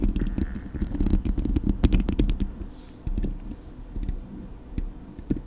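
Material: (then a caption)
Metal mesh. Long nails tap and scratch the hollow metal mesh grille of a Blue Yeti microphone. Quick, irregular taps land about four times a second as dull, boomy thuds, with faint bright scratchy streaks between them. Each tap dies away almost instantly, and the tapping grows quieter partway through.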